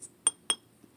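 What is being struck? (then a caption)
Glass perfume bottle. A glass perfume bottle, whose cap is plastic, is tapped to show its body is glass. It gives three short, bright, high glassy clinks, the first faint and the next two louder, each dying away almost at once.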